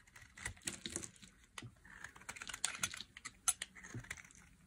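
A metal blade carves chunks off the corner of a solid, hand-sized yellow bar of dry soap held by long nails. A rapid series of crisp, dry, bright crunches and clicks sounds like keyboard typing, with each cut ending almost instantly over a faint low rumble.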